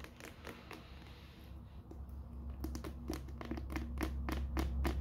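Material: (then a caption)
Cardboard. Long dark-painted nails tap and scratch the top of a small grey rigid cardboard Ridge wallet box, still closed and sealed in thin plastic film, as it lies on a wooden floor and is then held up. Quick, fairly regular taps with light scratching and soft crinkling of the wrap grow denser and louder toward the end, over a steady low hum.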